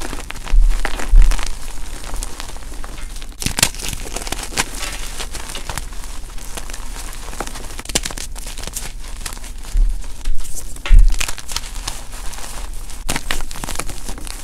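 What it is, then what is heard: Gym chalk blocks crushed by hand. Bare fingertips and palms squeeze and crush solid, crumbly blocks of white and purple-dyed gym chalk (magnesium carbonate) into powder in a dark bowl. The result is a steady stream of dry, gritty crunching and crackling, with a few louder crunches early on and again around the ten-second mark.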